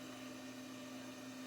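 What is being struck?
Nothing is struck.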